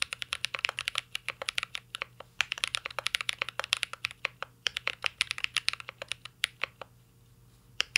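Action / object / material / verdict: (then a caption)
tap / mechanical keyboard, aluminum case with plastic keycaps / aluminum, plastic / none. Fingertips of both hands type on a full-size CYBERBOARD R3 mechanical keyboard with an aluminum case, plastic keycaps and Holy Panda switches. The result is a rapid, steady stream of bright, dry, clacky key taps that stop almost instantly. A short pause comes near the end, followed by a few final taps.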